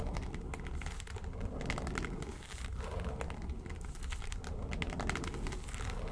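Long nails scratch and tap on the lid of a small, hollow, yellow textured faux-leather makeup suitcase. Dense crinkly scratching runs steadily throughout, broken by quick, short, bright clicks over a constant low rumble.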